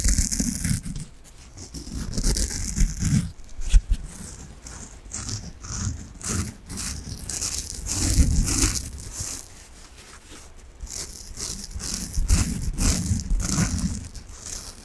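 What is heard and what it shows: A large, soft, peach-coloured foam sponge, solid and squishy, is held in both hands in front of the mic and scratched with fingernails. The scratching comes in uneven bursts that swell and fade. It has a deep, muffled low rumble under a bright, hissy rasp.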